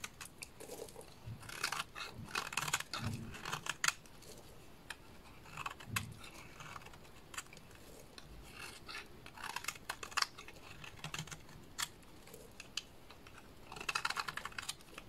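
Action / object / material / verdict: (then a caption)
scrape / bar of soap / soap / none. A small blade scrapes along the face and edges of a solid purple soap bar, shaving off fine flakes and curls. Bursts of dry, bright scratching and crisp rasping strokes come in uneven clusters with short pauses between them. Each stroke stops dead with no ring.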